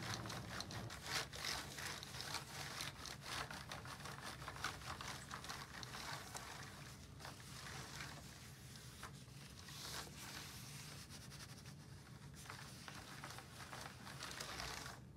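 A gloved hand rubs and wipes a white cloth wipe across a black plastic computer keyboard with hollow key caps. The result is a continuous bright, scratchy swishing and scraping, broken by quick rough strokes and faint clicks of the keys, over a steady low hum.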